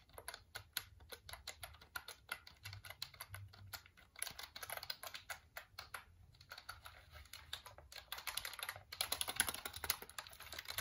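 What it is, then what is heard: Plastic computer keyboard. Fingertips tap the keys of a black plastic full-size computer keyboard held up in front of the face. Quiet, rapid, bright plastic clicks run in uneven bursts throughout, each one short and dry, with a faint low hum underneath.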